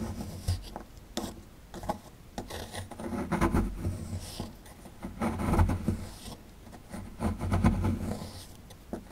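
A small, solid plaster excavation block held in the hand is scraped and scratched with a metal pick tool, and crumbs fall away. Dry, rasping scrapes come in irregular, swelling bursts with a heavy low-end rumble and short clicks of breaking material.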